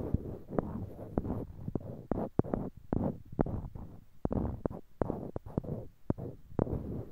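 Small solid, light-colored wooden cubes, held in pairs in each hand close to a binaural microphone, are clicked and knocked together with the fingertips. A quick, uneven run of short, dry wooden taps sounds over a soft, low, rustling bed, with each knock dying away almost instantly.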